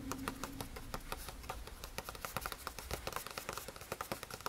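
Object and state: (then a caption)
Paper notebook page tapped. Fingertips tap and patter on the lined paper page of an open spiral notebook. Quick, soft taps follow one another in an irregular stream over a quiet low background. Each tap dies away almost at once.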